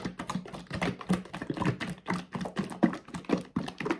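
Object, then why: Plastic bath soak bottle. A hollow blue plastic Dr Teal's bath soak bottle holding thick liquid is gripped in the hands and shaken back and forth. It makes a rapid, uneven run of dull, low sloshing thuds with soft plastic knocks that stop short and do not ring.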